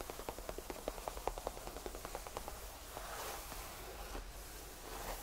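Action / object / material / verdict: tap / faux leather tufted bench / faux leather / none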